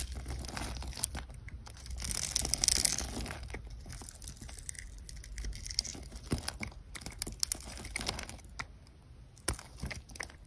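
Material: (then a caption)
Soap. A metal utility knife blade scrapes small cubes off a solid pink, grid-scored soap bar held in the hand. The result is a quick, irregular run of crisp, bright scraping and crumbly cracking, with a louder rasping stretch near the start.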